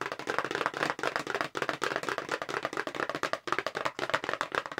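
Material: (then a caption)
Cardboard. Long pink nail tips tap rapidly on a hollow, long light-blue "multi-tasker" paperboard makeup brush box held in both hands. A fast, continuous run of dry, clicky taps sounds papery in the midrange, with almost no low end. Each tap dies away almost instantly.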